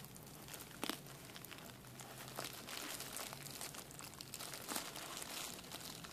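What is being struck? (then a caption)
Plastic bubble wrap sheet. A folded sheet of clear plastic bubble wrap has its air-filled bubbles pinched and popped between fingertips and thumbs. Steady bright crinkling of the plastic runs throughout, broken by sharp, quick pops with a few louder snaps standing out, all quiet and close.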